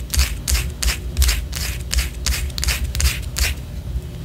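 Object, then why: Wax pillar candle. Long orange acrylic nails scratch the side of a large white solid wax pillar candle held upright. Quick, dry, bright scratching strokes repeat at roughly three per second in a loose rhythm over a low, steady rumble.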